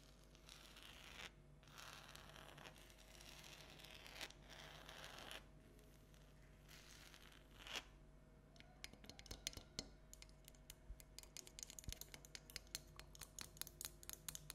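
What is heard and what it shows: Long red and black nails scratch and tap a small hollow orange plastic light-up jack-o'-lantern with an LED light, standing on a table. Bursts of bright, hissy scratching in the first half give way to a rapid run of sharp, clicky taps in the second half.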